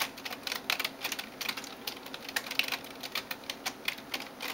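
Long nails tap and type on the keys of a backlit plastic gaming keyboard. Quick, irregular, bright clicks and clacks follow one another with almost no low end. Each click dies away instantly, leaving a dry, crisp patter.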